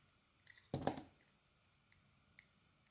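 A small, solid, translucent orange glycerin soap bar embossed "PEARS" is held in one hand and cut and scraped with a metal blade held in the other. A couple of faint ticks lead into a short, crisp, crunchy scrape lasting about a third of a second, with broadband energy reaching bright highs. Afterward, only quiet, isolated clicks are heard against a low background.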